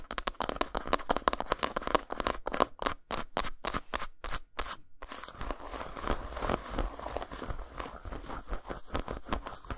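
Long nails scratch quickly across a solid, flat dark chocolate bar lying textured side up on a towel, then a knuckle knocks on it at the end. Short, dry, crackly scrapes come in rapid bursts with brief silent gaps for the first half. They then blur into a denser, continuous rasp with a bright edge and a faint tone near 1 kHz.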